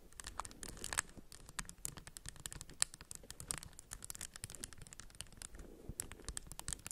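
Long acrylic nails tap and scratch the raised white and orange textured tiles of a hand-sized solid plastic 3x3 puzzle cube, held in both hands above a beeswax wrap. A dense, quiet stream of sharp, bright clicks and scratchy rasps follows, each dying away instantly.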